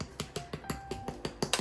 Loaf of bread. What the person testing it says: See, it sounds hollow, doesn't it?